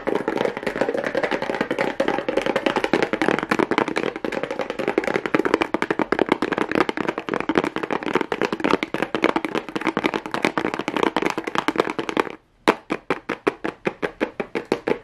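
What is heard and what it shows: Long nails tap and scratch quickly across a small hollow cardboard box covered in pink plastic rhinestone mesh, making a dense stream of sharp, bright, dry clicks with a rattly scratching texture. After about twelve seconds there is a brief silence, then the taps return as slower, more separated clicks until the end.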